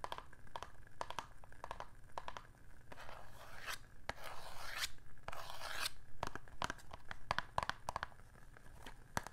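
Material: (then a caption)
Cardboard. A small closed cardboard matchbox with a red printed top, possibly with contents inside, is held in one hand and tapped and scratched with long painted nails. Quick, irregular dry clicking taps are broken up by longer scratchy, rustling strokes in the middle of the clip.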